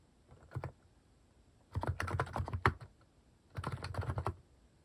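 Fingertips type on a plastic mechanical keyboard fitted with cat-shaped plastic keycaps. A short burst of key presses is followed by two longer runs of quick, low, thocky clicks with brief pauses between them.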